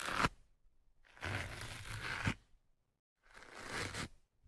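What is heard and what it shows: A thin metal hooked pick held in the fingertips scratches into the top of a black foam windscreen on the right microphone. Three rough, crackling scratch strokes are heard: a short one, then two longer ones, with quiet gaps between them. The scraping is broadband and bright.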